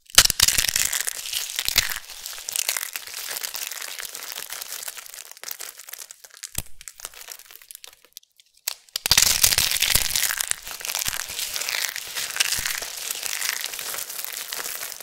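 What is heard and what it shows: Bare hands with long nails scoop, squeeze and crush handfuls from a large pile of thin, brittle, translucent amber soap flakes dusted with starch. The result is a dense, bright crinkling crunch with rapid, uneven crackles and little low end. It is loudest at the start and again after a brief near-silent pause around the nine-second mark, with quieter rustling in between.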